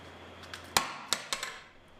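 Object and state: Tempered glass pane intact after steel ball drop.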